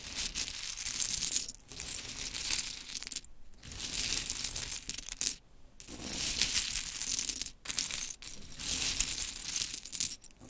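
Long chrome nails scratch and rake through a pile of small, solid, pink-painted wooden mini clothespins resting on glitter fabric. The pieces clack and rattle together in bright, dense bursts of clicks, broken by a few short pauses.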